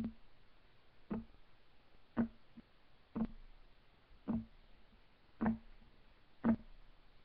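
Fingertips of both hands tap on a solid, flat, light wood desk top, giving six dull, short knocks about one second apart. Each knock has a low-mid thump with almost no ring, over a quiet background.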